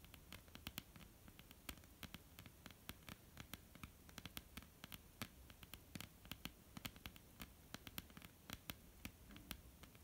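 Long polished fingernails on both hands tap a flat, dark, solid wooden tabletop in quick, irregular bursts. Each tap is a short, sharp, bright click that dies away almost at once, over a steady low hum.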